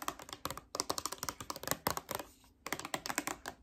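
A small, hollow rectangular cardboard gift box for Daisy perfume, with the product inside, is held in one hand and tapped with long red-painted nails. Quick bursts of light, crisp, dry clicks with almost no ring are heard, with a short pause partway through.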